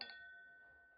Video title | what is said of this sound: Edition du matin 07/03/2018 (1/2) | la brillance la résistance la transparence et le son du cristal tout ça sans plomb